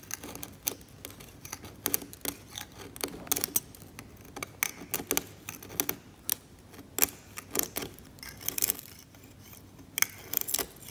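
A steel scalpel blade scrapes the varnish off a flaking varnished oil painting on canvas. Many short, dry, bright scratches follow one another in quick irregular strokes over a quiet background, each dying away almost at once.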